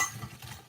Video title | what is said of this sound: HOW TO MAKE BEST EASY SIMPLE HOMEMADE JAMAICAN CHRISTMAS CAKE WITH BREADCRUMBS, JAMAICAN FRUIT CAKE | very very very crispy not soft